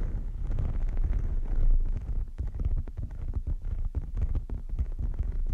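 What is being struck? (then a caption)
Textured rubber mat. Long nails of both hands scratch and rub a large flat pink textured rubber mat lying on a table. The sound is a dense, low rumbling scrape made of many quick scratchy strokes, with nearly all the energy in the deep low end and brief crackly ticks on top.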